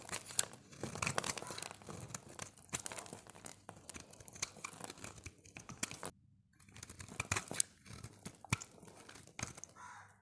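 A solid oval bright green dry soap bar held in the hand is shaved into curls with a utility knife blade. Dense, crisp scraping and crackling fills the clip in quick, bright bursts. There is a brief quiet pause near the six-second mark before the shaving resumes.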